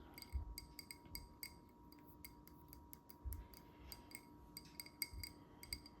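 Fingertips lightly tap the shiny green glass container of a limited-edition scented candle with notes of ginger, basil, fig, sage, clove, tonka bean and sandalwood. The result is a quick, irregular series of bright, high clinks that die away almost instantly over a soft, steady low hum.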